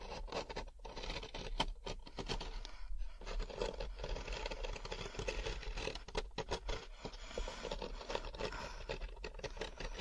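A large, hollow, thin-walled molded paper pulp packaging tray with a rough fibrous surface is held close to the microphone while fingertips and nails scratch quickly across its ridges. The result is a dense, continuous scratchy rustle with quick, brief gaps, sitting over a steady low hum.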